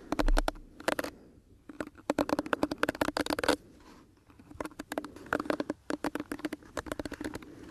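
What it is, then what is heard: Plastic hairbrush bristles flicked. Fingertips and nails brush and flick across the many flexible plastic bristles of a pink plastic detangling hairbrush held close to the microphone. The result is a rapid, crisp patter of clicks in several bursts with short quiet gaps, each tick dying away almost instantly over a faint steady low hum.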